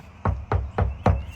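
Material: Plastic.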